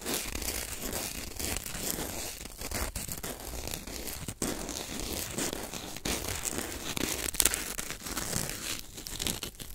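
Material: Corn starch foam.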